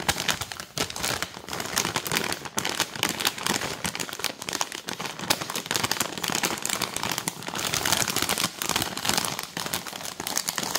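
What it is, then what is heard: Plastic snack bag. Long nails rapidly tap and crinkle a filled, air-puffed printed plastic film bag of cheese puffs. The result is a dense, continuous stream of crisp, bright crackles and ticks with almost no low end, each sharp sound dying away at once.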